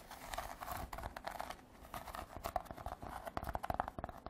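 A woven rattan basket is tapped and scratched with artificial nails. Dry, crackly scratching and crinkling give way to a run of quick, sharp taps, with a light resonant ring around 700 Hz and bright, brittle edges on each contact.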